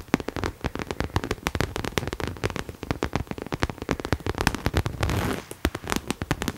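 Long nails rapidly tap and scratch a hollow pink cherry-print coated canvas Coach crossbody bag held in both hands. The result is a dense run of short, dry clicks with a soft low thump under each, plus a brief rough scratching stretch near the end.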